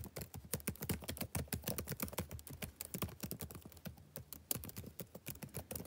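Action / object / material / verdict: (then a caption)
tap / plastic laptop keyboard keys / plastic / none. Fingertips type steadily on the black plastic keys of a backlit laptop keyboard. The result is a rapid, irregular run of short, dry clicks with soft low thumps and faint bright ticks, each dying away almost instantly at a quiet level.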